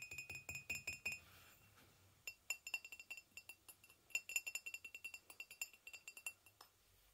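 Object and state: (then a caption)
Ceramic mug. A hollow white ceramic mug, briefly lifted and then set back on a blanket, is tapped with fingernails in quick, separate, bright clinks with a ringing tone near 2.7 kHz. Each tap dies away almost at once. A burst of taps is followed by a short quiet gap, then a longer, steady run of taps.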